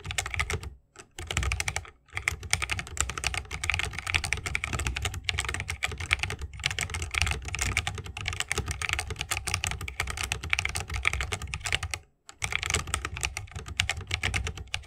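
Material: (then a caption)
Bamboo, plastic. A 60% mechanical keyboard with a bamboo wood case, plastic keycaps and tactile switches is typed on rapidly with the fingertips of both hands. Dense, bright clicky key presses with a low thocky body run nearly continuously, with brief pauses near the start and around twelve seconds.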